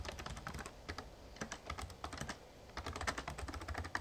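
Fingertips type steadily on the plastic keys of a full-size, backlit Razer Ornata Chroma plastic membrane gaming keyboard with a hollow case. Quick bursts of short, soft clacks with a low, hollow thump under each brighter tick pause briefly midway, then resume.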